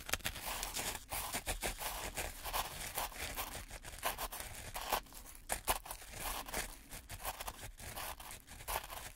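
Two gloved hands push and scrape wooden craft sticks through fine black-and-white speckled sand or grit in a white plastic tray. The sound is a steady gritty scraping and crunching with a bright, hissy texture. Sharp scratchy bursts stand out throughout.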